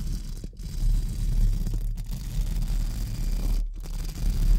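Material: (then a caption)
Metal mesh. Pink spoolie brushes are held low at the sides of a hollow metal mesh microphone grille and brushed against it. This makes a continuous, soft, scratchy rustle over a heavy low rumble, broken by a few brief gaps where the strokes change.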